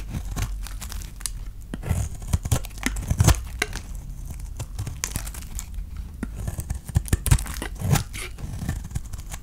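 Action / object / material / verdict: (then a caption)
scrape / bar of soap scraped with a knife blade / soap / none. A utility knife blade scrapes and slices strips off the surface of a palm-sized, solid green, dry painted soap bar held in the hand. It produces a continuous run of dry, crinkly scraping and tearing sounds, punctuated by short, crisp cutting snaps. A low, dull body sits beneath the bright, gritty edges.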